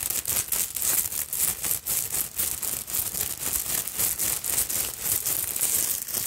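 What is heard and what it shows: Long nails scratch and brush through the long bead fringe and beaded front of a black beaded fabric purse. Heard as dense, bright rattling and clicking strokes that repeat in quick, uneven bursts with short pauses between them.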